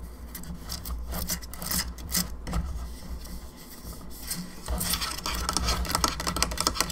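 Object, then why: Plastic skull lamp. Long fingernails scratch and tap the jaw and sides of a hollow plastic skull candelabra lamp. Soft dry rasping strokes mix with light clicky taps over a low steady hum, growing busier and brighter in the last couple of seconds.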